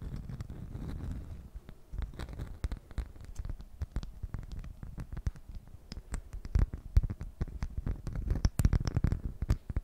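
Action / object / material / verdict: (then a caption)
scrape / beeswax-coated cloth food wrap / waxed cloth / none. Long nails tap and scratch across a flat honeycomb-print beeswax cloth food wrap. The result is a dense run of short, crisp crinkling taps and rough scratching strokes, mostly low and muffled, with some sharper bright clicks toward the end.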